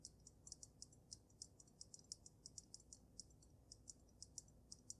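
Gray-painted nails tap quickly on the glass dome of a water-filled glass snow globe with a dragon inside. About 28 quiet, bright, very short ticks with almost no ring fall at an uneven pace. A low, soft rumble sits beneath them.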